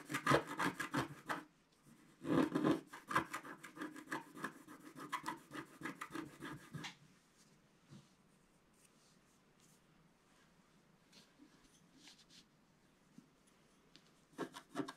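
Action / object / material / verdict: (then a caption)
scrape / scratch-art paper sheet scratched with a wooden stick / coated paper / none. A wooden stick scratches across a flat black-coated scratch-art paper sheet lying on a table, first working the lower stocking and then the top details. Dense bursts of dry, rasping strokes fill the first seven seconds, fade to faint, sparse scratches, and then return in a short burst at the end.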